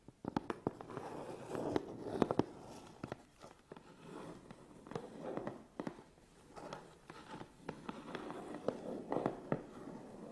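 Fingertips and nails scratch and tap the front face and sides of a medium, hollow, closed Canon cardboard box. Bursts of dry, papery scratching alternate with many sharp, quick taps that stop dead with no ring, and the sound sits mostly in a warm mid-range.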